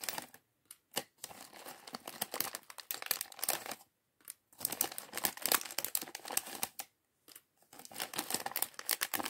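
Fingertips crinkle a small, mostly empty clear polyethylene bag held in both hands and rummage through the few plastic bricks inside, from a LEGO Chevrolet Corvette C8.R Race Car set 76903. Dense bursts of bright, crisp crackling and light clicking come in several runs, separated by short silent pauses around four and seven seconds.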